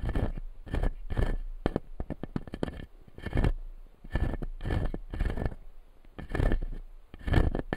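Fingertips and nails scratch the white resin teeth of a clear acrylic lower jaw dental model resting on a light panel. Repeated short scraping strokes and clicky taps come in bursts with brief pauses, giving a dry, crackly texture over a low rumble.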